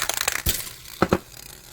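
A Krylon gloss citrus green aerosol spray paint can is shaken with quick rattles of its agitator ball, then set down on a table with a thud, followed by two sharp knocks. Afterward the ball keeps faintly rolling around inside, showing the paint is extremely thin with very low viscosity.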